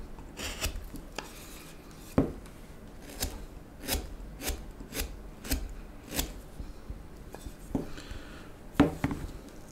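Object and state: Wooden spoon blank being shaved with a knife.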